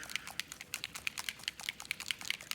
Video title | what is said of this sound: Alcohol Ink Basics 101 - Adhesive Stencils 2 - 130 | metallic type colors usually have a ball in there they're a little bit thicker so definitely shake it up until you can hear that bottle shaking around